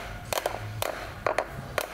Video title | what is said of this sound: Замученный - #D4HA | бросать, и слышно такой звонкий звук